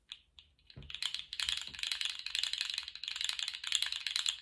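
A small rainbow-striped, jointed plastic slug fidget toy is stood upright on a table and compressed and flexed by fingertips. After a few sparse clicks, its segments set off a dense, continuous run of bright, crisp rattling clicks. The clicks are dry and very short, with almost no low end.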